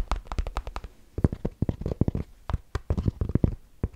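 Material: Fabric.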